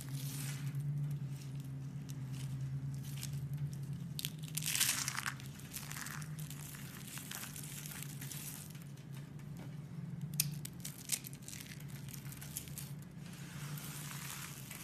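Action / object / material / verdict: scrape / dried soap curls / soap / none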